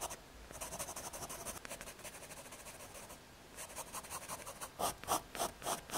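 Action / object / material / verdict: scrape / thin MDF fiberboard square / MDF / none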